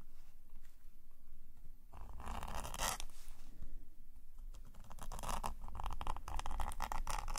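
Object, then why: Metal pen nib on a paper sketchbook page. A metal nib pen scratches hatching strokes across a black paper sketchbook page resting on a table. Quiet, faint scratching gives way to louder bursts of dry, rasping strokes, which become quicker and denser toward the end over a steady low rumble.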